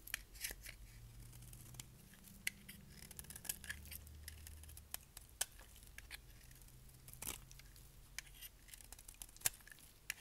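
A palm-sized solid black bar of dry soap is held in the hand and shaved with a utility knife blade, curling off shavings. A series of short, sharp, bright scraping and cutting strokes sounds over a quiet, faint low hum.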